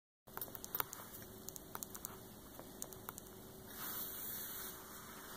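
Long painted fingernails tap about thirteen times in a quick, irregular series of sharp, dry clicks on the front cover of a large, flat hardcover coffee table book lying closed on a table, its glossy printed paper dust jacket giving a crisp tick. A soft, broader scratching swell follows as the nails drag across the cover. The book sounds solid, and stone rings and metal bangles on the hand may add faint clinks.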